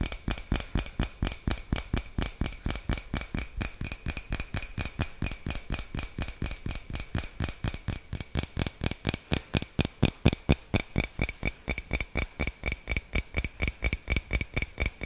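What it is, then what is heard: Ceramic mug. A small, hollow white ceramic mug with a printed design is held in hand close to the mic and tapped and scratched with fingertips and nails. A quick, fairly steady run of dozens of short, dry clicks follows, each with a low thump and a bright, glassy edge that dies away almost instantly, growing slightly louder toward the end.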